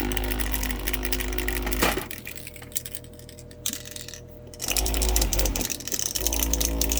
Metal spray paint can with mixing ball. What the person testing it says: you can hear it bouncing around in there